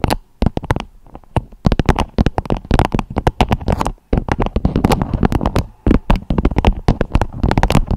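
A beeswax-coated fabric food wrap with a strawberry print, draped over a microphone head, is tapped and scratched with long acrylic nails. Dense, irregular clusters of short, dry, crinkly taps and scrapes come in bursts, heavy in the low end, with brief quiet gaps near the start and around the middle.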